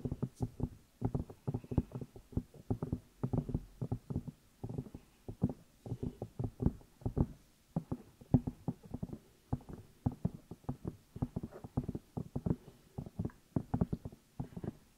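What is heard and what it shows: Fingertips and long nails tap and rub the outside of the two hollow rubber or silicone ear pieces on a black binaural microphone. Quick, close, muffled thumps come in rapid bursts across the clip, heavy in the low end with a faint scratchy rustle between them. Each tap dies away almost instantly.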